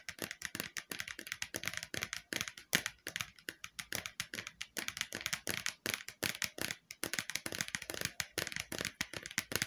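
Long painted nails tap quickly on the outer side wall of a round, hollow red plastic bowl that appears empty and is held sideways. A rapid, steady stream of crisp, bright clicks sounds, each dying away almost instantly, with a light hollow knock and very little low end.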